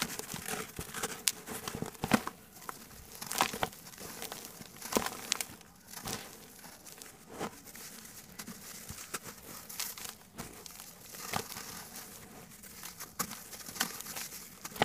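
A single fist-sized, solid, dry, grey sand-cement chunk, held in both hands over a black basin of loose cement powder, is rubbed and squeezed with the fingertips. Dry, gritty crackling and crunching come in irregular bright bursts with soft hissing trickles between them. The chunk crumbles into dust.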